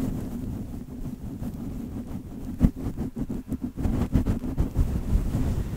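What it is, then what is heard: Fur microphone windscreen being scratched. Fingertips and short nails of both hands rub and scratch a grey-white fluffy faux-fur windscreen fitted over a Blue Yeti USB microphone, soft and hollow over the mic capsule. A steady, muffled low rustling rumble fills the clip. From the middle onward, sharper, irregular scratching bursts break through it.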